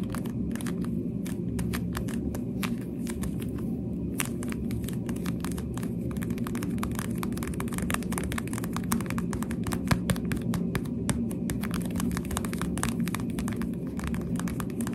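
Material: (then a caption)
Plastic. The hollow translucent pink plastic cat ears on a thin pink plastic headband are tapped with the finger pads while long dark nails touch the surface. The result is a continuous stream of quick, soft, hollow plastic taps with faint bright clicks from the nails, over a steady low, muffled rumble.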